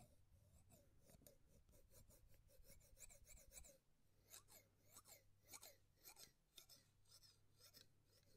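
A larger pair of steel-bladed scissors with red handles is held right in front of the microphone, and its blades are slowly opened and closed so they snip and rasp against each other. A quick run of dense, bright scraping strokes gives way to slower, more separated metallic snips, all crisp and high with very little ring, over a faint low hum.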